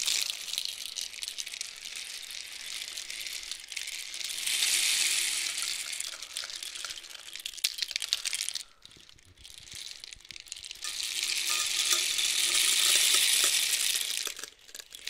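A long, hollow painted cardboard rainstick with loose filling is tilted with both hands from horizontal to a steep angle. It gives a bright, hissing, rain-like rattle that swells in two long waves, with a brief near-silence between them before the second pour builds again.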